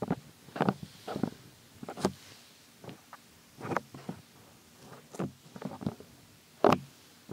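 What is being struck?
Silicone ear of a binaural microphone.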